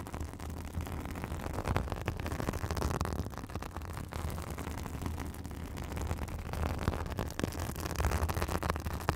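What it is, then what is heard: Synthetic bath sponge scratched. A white fibrous synthetic bath sponge resting on a microphone is scratched with long acrylic nails, giving a steady, dense crackling scratch. Heavy low-end rumble runs underneath throughout, with brief brighter scratchy bursts on top.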